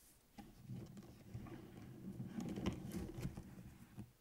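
Fingertips and short nails tap and scratch on the lined paper pages of an open spiral notebook with a metal coil, lying on a table. The result is a soft, irregular patter of dull, low-heavy taps and papery scratches with brief bright clicks. Near the end, the cover is lifted to close it.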